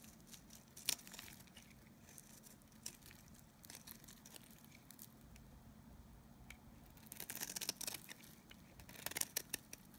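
A solid, dry oval bar of Nevskaya kosmetika soap, held in the hand, is scraped with a snap-off knife blade, shaving off curls of soap. The scraping comes as quiet, bright, crisp crackles and dry tearing sounds with no ring. It grows into louder, denser bursts of crunching near the start and again toward the end.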